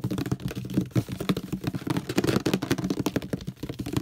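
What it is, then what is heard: Plastic detergent bottle, hollow. Fingertips tap quickly on the handle area and base of a hollow orange plastic detergent bottle, producing a rapid run of about twenty dull, hollow knocks. The taps are low and thuddy with almost no brightness, and each dies away immediately with no ring.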